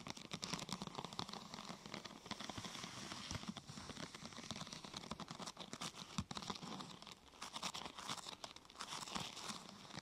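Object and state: Plastic sheet being scratched and tapped.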